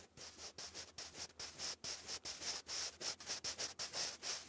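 A sharpened wooden graphite pencil writes English cursive on a thick grey lined cardstock sheet lying flat. Short, bright, dry scratching strokes come in quick bursts separated by brief pauses.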